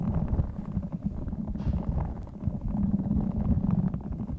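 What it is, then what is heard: Rubber squishy ball with beads. A small clear spiky rubber squishy stress ball filled with colorful beads is held in both hands close to the microphone, squeezed and rubbed with the fingertips while its spikes are scratched. The result is a dense, low, muffled rumbling squelch with rapid crackling texture and a faint humming tone near 195 Hz, plus a brief brighter scratch around the middle.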